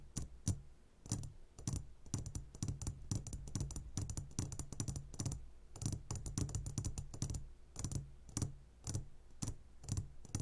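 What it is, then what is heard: Glass candy jar. Fingertips tap quickly on the sides of a clear glass jar full of gummy candies. The result is a dense run of soft, dull taps with a low thump and bright clicky edges, each dying away almost at once, with brief pauses between bursts.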